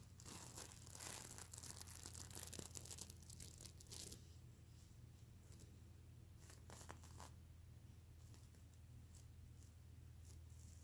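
Fingers and nails scratch and flip the reversible plastic sequins on a soft stuffed mermaid unicorn plush pillow. For the first four seconds there is dense, bright, crackling rasping, then it thins to quieter scattered flicks and brushes over a steady low hum.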